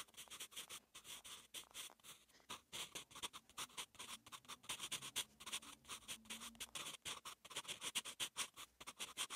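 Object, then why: Graphite pencil on notebook paper. A soft graphite pencil tip, held in the fingertips, scratches out strokes of Korean letters on a flat page of lined, textured notebook paper, writing on the same page throughout. The sound is a quick run of dry, bright scratches and short strokes. Each stroke is crisp and stops almost at once, with little low end.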